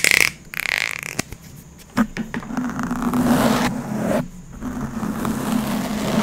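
A clear plastic PET water bottle with a green label, hollow and mostly empty, is held in both hands and squeezed, crinkled and twisted with the fingers. Sharp crackles and snaps give way to a rough, scraping crinkle with a low buzzy tone running underneath.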